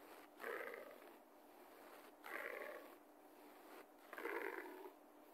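Fingertips and short nails of a left hand scratch a low-pile beige carpet floor repeatedly while the right hand rests on the carpet. Three raspy scratching bursts come roughly two seconds apart, with a soft hiss between them.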